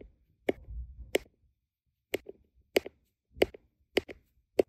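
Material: Resin.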